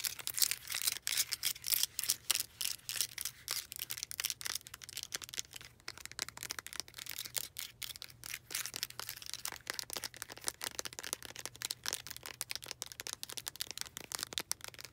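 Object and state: Clear plastic puzzle cube.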